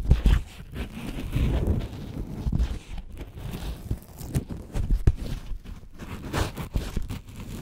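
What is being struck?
Dry corn husk wrapped around an ear of corn.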